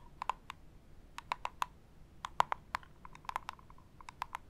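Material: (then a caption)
Cardboard. A small, hollow printed cardboard Hey Happiness jewelry gift box is held in one hand and tapped and scratched with long acrylic nails. About 18 quick, dry clicking taps land in irregular bursts, each with a faint tone near 1 kHz and almost no ring, over soft scratching.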